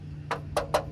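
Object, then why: Plastic car wheel hubcap. Three quick, dull knocks on the plastic hubcap of a 2022 Toyota Corolla Hybrid LE wheel, each fading almost at once over a faint low hum. The short, hollow clack shows the wheel cover is plastic rather than a metal rim.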